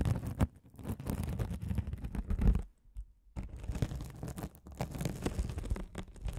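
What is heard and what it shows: A rolling gold metal spiked roller scratches over a hand-sized blue glitter mesh scouring sponge, a soft, solid sponge with a sparkly woven mesh cover, held over the microphones. It makes a dense, low, rumbling crackle of rapid scratchy ticks, broken by a short quiet pause near the middle before the rolling resumes.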